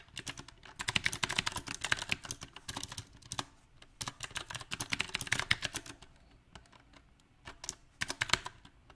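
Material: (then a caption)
Plastic. A compact backlit mechanical keyboard with round plastic typewriter-style keycaps is typed on with the fingertips of both hands. Uneven bursts of fast, bright clicking keystrokes come in clusters separated by brief pauses, with little low end beneath them.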